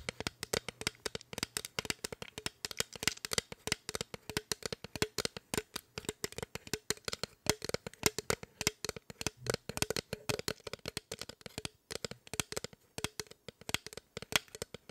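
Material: Aluminum.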